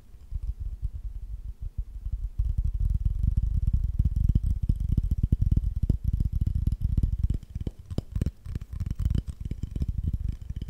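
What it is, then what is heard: Glazed ceramic plate. Fingertips and nails tap and scratch the glaze of a small, solid, green-glazed ceramic plate with an owl drawing on it. A rapid run of dull, low, dry taps with faint scratchy texture, each hit stopping almost at once with no ring, grows denser and louder after the first couple of seconds.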